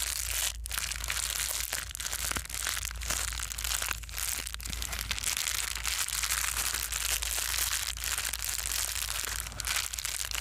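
A small white foam bubble-wrap-like plastic sheet is folded, squeezed and crumpled by hand. Dense, bright crinkling and crunching crackles run nonstop at a fairly steady level over a faint low hum.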